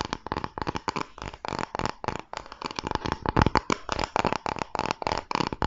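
Fingertips and nails scratch and rub the surface of a flat, thin, solid pale wooden board, plywood-like and held in both hands close to the microphone. The result is a rapid series of short, dry scratching bursts with quick decay, a steady mid-range tone and a bright, crisp edge.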